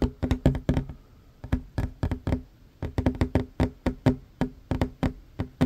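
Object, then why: Wooden tabletop. Fast tapping with the short fingernails of one hand on a large, solid, worn wooden tabletop gives about 28 sharp, dry knocks in uneven bursts with brief pauses. Each tap has a low, woody thump near 137 Hz and a crisp click on top, and dies away almost at once.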